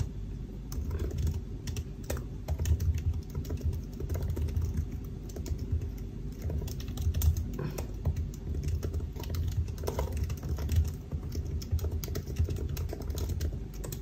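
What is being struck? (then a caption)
Laptop keyboard, plastic keys in aluminium body. Fingertips of both hands type continuously on the black plastic keys of a silver aluminium laptop keyboard. The result is a steady stream of soft, short, muffled key taps with a deep, low-heavy thump and little brightness, with no voice.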